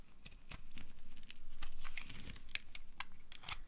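A small metal knife blade carves and scrapes a palm-sized solid pink bar of dry soap held in a hand with long dark nails. Curls and flakes peel off onto a pile of colorful soap shavings. The result is a quick, irregular run of crisp, dry crackling and scraping cuts with bright, brittle ticks.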